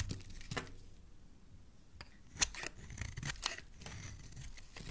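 A solid oval pink bar of soap held in the hand is shaved with a metal blade into curls. Short, dry scraping and crackling strokes sound with bright, high texture over a soft low rumble, and a few sharper, louder cuts stand out.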